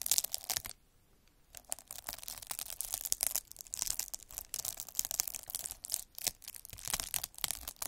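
A metal-needle derma roller is rolled back and forth across a clear plastic bubble wrap sheet with air-filled bubbles, scratching over them. It makes a bright, dense crackling and scratching with quick tearing-like bursts. There is a brief near-silent pause early on before the rolling resumes steadily.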